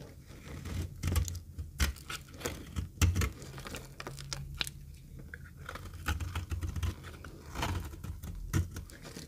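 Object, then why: Bar of soap cut with a metal knife. A metal knife scrapes and cuts thin, crumbly flakes off a rectangular, solid, very dry yellow retro soap bar held in the hand. The result is a run of dry, crunchy scraping and crackling strokes with low, muffled thumps and short, bright crackles between them.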